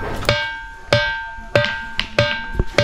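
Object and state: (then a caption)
Ringing rock with a metallic sound. A large natural rock at the Tintini Pathar (Tintini stone) spot in Mainpat, Chhattisgarh, is struck seven times, each hit giving a bright metallic ring pitched near 590 Hz with clear overtones that fade quickly. Though it is plainly a big piece of stone, it rings like struck iron, as this rock is known to do.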